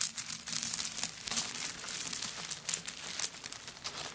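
Long acrylic nails scratch and grip the surface of a hollow, empty handbag covered in small dried coconut shell chips, with the hands also touching its wooden bead handle. The result is a continuous, bright, crinkly scraping full of quick, dry clicks and almost no low end.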